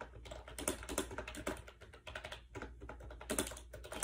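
Rapid fingertip typing on a compact gray plastic AJAZZ 308i wireless Bluetooth keyboard with round keycaps and a hollow shell, resting on a bed. The quick keystrokes make short, light plastic taps and clicks with a hollow tone and bright edges, each fading almost at once, in an uneven continuous stream.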